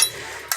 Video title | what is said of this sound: INI DIA CARA MEMIILAH RONGSOK AGAR HARGA LEBIH TINGGI - Bank Sampah Lampung Tubaba | Namun kalau besi kaleng itu yang seperti ini ya. Kalau dijatuhkan suaranya keras itu berarti kaleng.